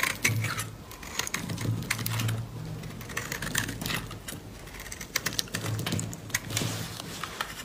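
A solid white bar of dry soap is held in the hand while a metal utility blade rapidly scrapes and cuts shavings from it. The result is a stream of crisp, bright scraping clicks over a low hum.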